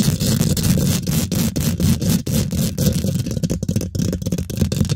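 Long pink glitter nail tips rest on a hollow steel wire-mesh microphone head, scratching and tapping it fast. The result is a dense, continuous stream of close, heavy low-frequency thumps and rough scraping, with short sharp dips between strokes and little bright content.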